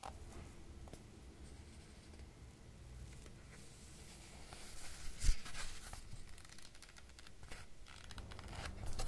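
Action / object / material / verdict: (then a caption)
scrape / paperback book paper pages / paper / none. Fingertips rub and scratch the paper pages of a thick paperback book lying open to an illustrated spread, while the other hand holds the page block. Quiet, dry scratching and brushing runs over a steady low rumble, swelling into a brighter, louder papery scrape around the middle before settling back to soft rubbing.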